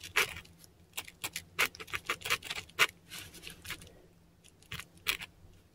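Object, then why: Korean paper sheet scratched by a metal pen nib. A metal dip pen nib scratches ink strokes of Japanese characters across a flat sheet of textured Korean paper. Short, bright, scratchy strokes come in quick irregular bursts with brief pauses, over a faint low hum.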